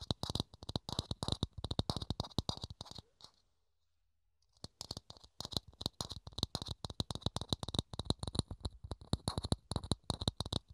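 Fingertips and nails rapidly tap and scratch a small, hollow, thin clear plastic dome held in the hands, making a dense run of short, dry clicks with a hollow low thump under each and a bright, crisp edge on top. The tapping stops briefly for about a second of near silence, then resumes at the same quick, uneven pace until the end.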